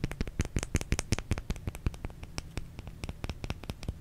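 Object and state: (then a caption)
Bar of soap. Fingernails scratch and tap the face of a solid white oval bar of soap held in one palm. The result is a quick, uneven run of short, dry clicks and scrapes, each with a soft low thump beneath a bright crackly edge, dying away almost instantly.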